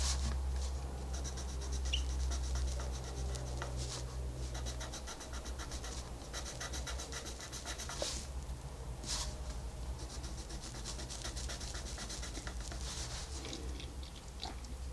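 A green wooden colored pencil, held in the fingertips, scratches and rubs across a flat paper coloring book page in short coloring strokes. The quick, dry, bright scratches repeat steadily over a constant low hum, with a few sharper strokes standing out.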